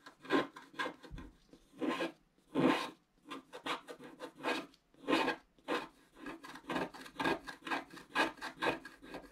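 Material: Coated paper.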